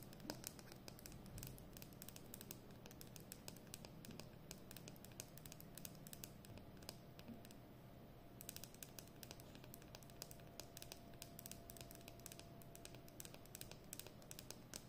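Long fingernails rapidly tap and scratch the hollow plastic barrel of a capped Edding 300 permanent marker held in both hands. The result is a quiet, continuous stream of sharp, bright clicks and light scratchy strokes over a low background hum, with a brief lull in the tapping a little past the middle.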